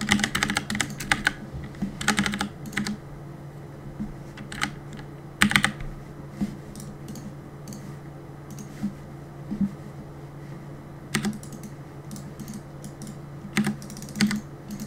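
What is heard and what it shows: Fingertips type on the plastic keycaps of a black mechanical keyboard, giving quick bright clacks that come in rapid bursts at the start and then as sparser single taps with quiet gaps between. Each click is short and dry, over a steady low hum in the background.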